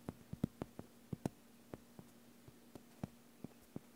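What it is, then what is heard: Plastic cutting mat. Bare fingertips tap across a large, flat, green gridded plastic (vinyl) self-healing cutting mat lying on a table. The result is a quiet, irregular series of short, dry, low-pitched taps that die away instantly, over a faint steady low hum.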